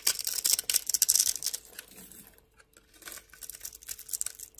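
A solid rectangular pink bar soap held in the hand has its edge scored and scraped with a metal blade in a carving, scratching motion. Dry, bright, crisp scratches come in rapid, uneven bursts, loudest in the first second and a half, fading to near silence around the middle, then resuming more softly. A faint steady tone hums underneath.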